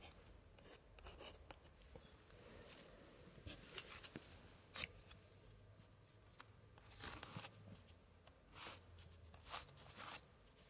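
A white-gloved hand traces and scratches a thin pointer stick across the left page of a large open 1880s scrapbook with thick decorated paper pages. The sound is soft, dry scraping and scratching, with brief bright ticks and crisp rasping bursts. It is quiet and close, with a low hum underneath.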